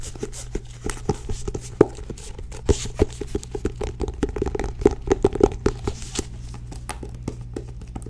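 A medium blue-grey cloth-bound hardcover book, solid and held up, is tapped and gripped on its cover and spine by long nails. A quick, irregular stream of short, dry taps and soft scratchy grips rises over a steady low hum, each tap dying away almost instantly with a muted, woody tone.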